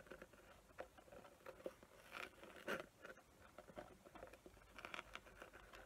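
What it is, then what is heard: Glitter-covered box being scratched. Long nails scratch across the gritty surface of a small square box coated in glitter with raised glue patterns. The sound is a quiet, dry patter of rapid crackly scrapes with brief brighter bursts, the loudest around the middle of the clip.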